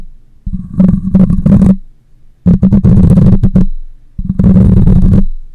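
A hand wraps around the metal mesh grille of a black condenser microphone while long nails scratch it, including the top. Three bursts of rough, crackling scratching and rubbing are heard, each boomy and heavy in the low end with a steady low hum underneath. Short pauses separate the bursts.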